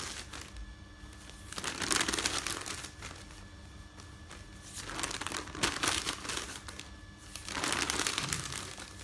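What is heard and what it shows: Fingertips rub, lift and crinkle a folded stack of thin printed newsprint resting on a bed. The dry, bright rustling swells into three louder crinkly bursts between quieter stretches of soft scratching.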